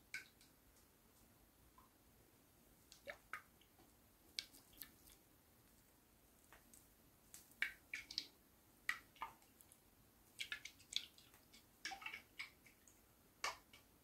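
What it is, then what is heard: Whole husked coconut. A whole, hand-sized, hairy fibrous coconut is held up near the ear and shaken while fingertips rest on the husk, possibly with liquid inside. Sparse, quiet, bright clicks and small wet splashes sound over a faint hiss, each very short with almost no ring, and they come in uneven clusters that grow busier in the second half.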